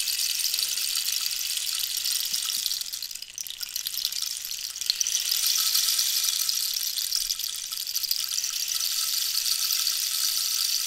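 A hollow cactus wood rainstick with a colored band at the end is held upright and tilted while long nails tap and scratch along it. Pellets rattle and trickle inside in a steady, bright, rain-like hiss. It dips briefly around the third second, then swells back up.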